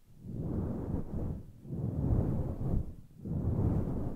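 Long nails grip, scratch and rub the sides of a grey, fluffy synthetic-fur (faux fur) microphone windscreen. The result is three slow, muffled swells of deep, rumbling rustle, almost entirely low-pitched with no bright hiss, rising and fading like soft whooshes.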